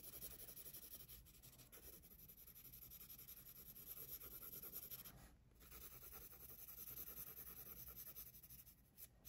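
A handheld graphite pencil scratches and rubs across the page of an open paper sketchbook lying flat on a wooden desk while shading a figure drawing. A quiet, steady rasping hiss runs throughout, bright in the highs over a low rumble, with a brief pause around five and a half seconds before the strokes resume.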